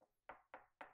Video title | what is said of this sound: Rigipsdübel Montage ✅ULTIMATIVE ANLEITUNG: Hohlraumdübel, Gipskartondübel & Rigips Dübel Befestigen! | wenn das Ganze hinter dir jetzt z.B. wie bei mir auch hohl ist, was du durch Klopfen relativ gut rausfinden kannst